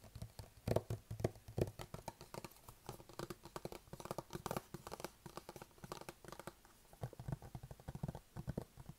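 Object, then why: Closed cardboard box. Fingertips tap quickly on the sides and lid of a closed, hollow white cardboard iPad box held at face height. The result is a steady run of short, soft, hollow thuds, mostly low and muffled with a woody knock around the midrange. Each tap dies away almost instantly.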